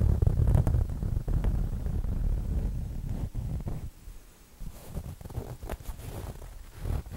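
Fingers and nails scratch and rub a soft, stuffed, square printed fabric throw pillow while one corner is squeezed. The result is a dull, muffled rustling concentrated in the low end, with irregular scratchy strokes that are fuller for the first three seconds before thinning to quieter, patchier rubbing.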